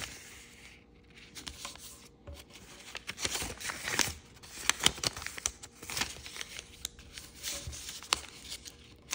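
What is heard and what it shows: A small square of thin kaleidoscope-pattern origami paper on a wooden table is folded and creased by fingertips and nails, which rub along the folds. Quiet, bright crinkling and brushing is broken by short, crisp crease snaps, with almost no low end.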